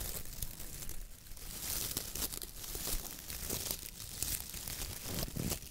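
A palm and fingers press down on, squeeze and rub the stiff bristles of a coconut fiber (coir) dish brush head with a wooden handle. The result is a steady, scratchy crinkling and crunching rustle with bright, hissy bristle scrapes over a soft low rumble, swelling and easing with each squeeze.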